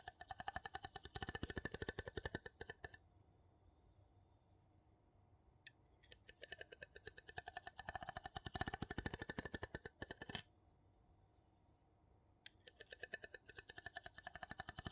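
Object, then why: Metal jar lid on a glass jar. A wooden spoon rapidly scrapes and taps across the textured top of a gold metal lid on a small empty glass jar. It makes quick, bright, clicky ticks in three bursts separated by short pauses of quiet.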